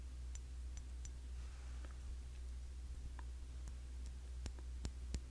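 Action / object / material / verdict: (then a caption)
tap / glass cologne bottle / glass / none. Fingers tap on the glass body of a cologne bottle, a Classic Match clone of YSL Y, making light, bright clicking ticks. The taps come at an irregular pace and die away almost instantly. A steady low hum sits beneath them throughout.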